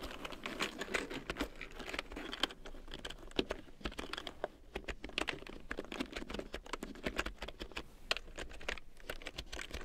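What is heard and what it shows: A black plastic large-print computer keyboard with yellow keycaps is typed on with long nails and fingertips, giving a dense run of sharp, clicky taps with bright tips and almost no ring. Near the end, the keyboard is shifted, adding a brief scraping movement to the steady clatter.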